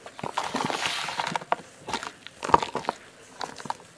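Bare fingertips and palms dig into a basin piled with dry, fine red dirt and small crumbly clods, loose and solid with no water, crushing the clumps and rubbing the soil through the fingers. The result is a dry crumbling and crunching sound: a hushed, grainy rustle broken by short, sharp crackles, with a louder snap near the middle.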